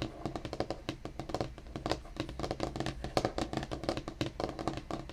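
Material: Wood.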